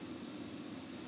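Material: Nothing is struck.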